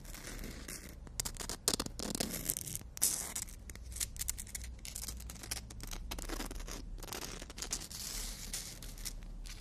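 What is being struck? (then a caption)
Emery board nail file with fingernails. Fingernails are filed back and forth along the abrasive edge of a long, thin, solid black emery board nail file. The result is a continuous, bright, rasping scratch that rises into louder strokes early on, over a low steady hum.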